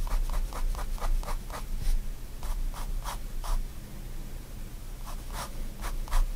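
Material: Paper.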